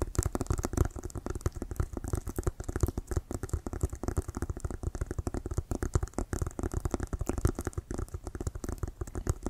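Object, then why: Inflated synthetic-leather American football. An inflated brown Wilson composite synthetic-leather American football with white laces is held in both hands and tapped and scratched with fingertips and nails around the laces. The result is a dense, continuous stream of quick, dull, low thumps with very short ring and faint scratchy texture on top.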